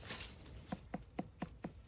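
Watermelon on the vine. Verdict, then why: Hollow. A watermelon in a garden, its vine dead, is knocked five times, each a short, dull, low thump with almost no ring, over faint high-pitched background buzzing. The melon sounds somewhat hollow and turns out to have busted open at a rotten spot.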